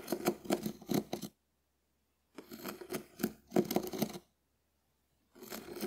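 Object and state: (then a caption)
Dried konjac sponge. A hand-sized, shell-shaped, hard and porous dried konjac sponge is held in the hand and scraped and scratched with a small wooden spoon. Quick bursts of dry, crunchy rasping come in three clusters, separated by silent gaps.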